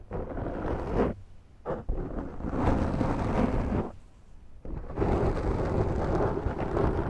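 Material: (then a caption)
Foam. Long nails scratch a large black foam windscreen on a Zoom microphone, first with one hand and then with both. The result is a deep, dense, rumbling scratch with a rough crackle, coming in long bursts separated by short quiet pauses.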